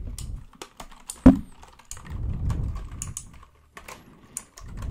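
Fingertips tap and press the plastic keycaps of a white full-size plastic mechanical computer keyboard held close to the microphone. Quick, uneven clicks and clacks sit over a low, muffled rumble, with one sharp, louder strike early on. Each click dies out almost at once.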